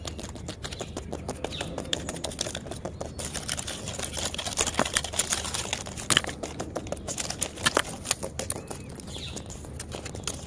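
Long nails on both hands scratch and tap the smooth, peeling pink-orange bark of a large, solid living tree trunk. Dense, rapid, bright clicks and scrapes build into sharper, louder taps in the middle of the clip, then ease back to quieter scratching.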